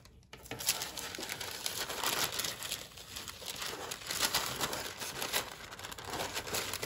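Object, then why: Thin metallic tissue paper. Fingertips with long nails fold and crease a large, thin sheet of pink metallic tissue paper lying flat on a dark table. The result is a steady, bright crinkling and rustling with many quick crackles, fluctuating in loudness throughout, and almost no low end.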